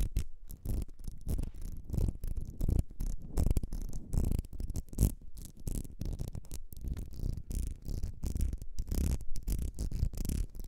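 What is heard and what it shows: Long red nails scratch the ribs of a small, partly filled ribbed glass perfume bottle with a gold cap. The result is a steady run of quick, dull rasping strokes, mostly low and muffled, with short bursts that stop almost at once.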